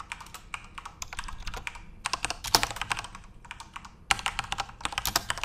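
Continuous fingertip typing on a Corsair mechanical keyboard with backlit plastic RGB keys produces rapid, bright, clicky keystrokes with very short decay and little low end. The steady patter has brief lulls around two seconds and just before four seconds, with a few sharper, louder strikes standing out.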